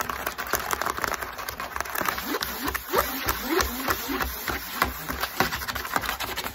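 Long acrylic nails rapidly tap and scratch the top and sides of a long, narrow, empty-looking corrugated cardboard box resting on a table. Quick, dry, hollow taps come in an uneven rhythm, mixed with short rasping scratches that sweep upward in pitch. Each tap dies away almost instantly, and a faint high hiss runs underneath throughout.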